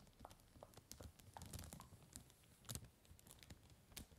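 Fingertips tap and scratch the crinkly surface of a large, empty, clear cellophane bag lying on a table. The result is a quiet stream of soft crinkles and sharp little ticks with bright highs, over a low, muffled rumble, and a few louder crackling bursts.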